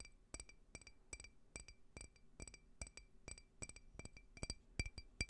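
A small, clear, hollow, empty faceted glass drinking tumbler is tapped with fingernails close to the microphone. Quick, irregular clicks and clinks each carry a short, bright glassy ring around 2.5 kHz plus higher tones, and die away almost at once.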